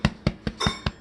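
A baked loaf of Cuban bread is thumped six times, giving short, hollow, low thuds with a faint clink. The hollow sound shows the loaf is baked through and done, ready to come out of the oven.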